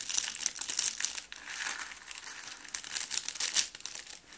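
A round rose made of green and white dry soap shavings is held in both hands with red-nailed fingertips and pressed until it crumbles into flakes. Dense, dry crinkling and crunching fill the clip, almost entirely bright with no low end. It comes in loud bursts near the start and again toward the end, with a softer, steadier crackle in between.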